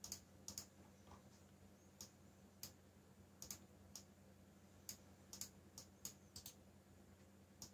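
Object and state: Plastic mechanical keyboard typing.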